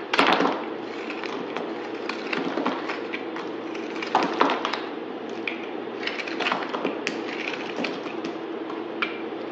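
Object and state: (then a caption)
Bar soap being shaved. A solid white bar of soap held in the hand is shaved with a utility knife blade, cutting and scraping steadily. A continuous dry, crumbly scraping runs throughout, broken by sharp crackling snaps, with louder bursts near the start and around the four-second mark.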